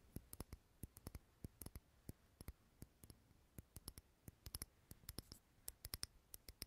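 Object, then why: Glass jar candle filled with wax. Long fingernails tap and scratch the sides of a small clear glass jar candle filled with solid green wax. A rapid, irregular series of short, sharp clicking taps rings bright and dies out almost instantly over a quiet, faintly rustling background.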